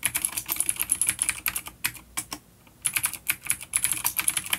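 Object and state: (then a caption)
Vintage clicky mechanical keyboard. Both hands type rapid fingertip key taps on an A-grade full-size black plastic vintage mechanical keyboard with grey keycaps, a coiled cable and vintage clicky blue switches, resting on a wooden desk. The bright, crisp clicks come in quick bursts with a short pause in the middle, each one dying away almost instantly.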